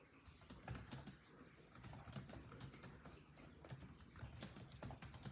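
Fingertips of both hands type rapidly on a built-in laptop keyboard with dark plastic chiclet keys set in a grey laptop body. Quick, irregular key taps sound as short, soft clicks, each with a low thump and a bright tick that dies away almost at once.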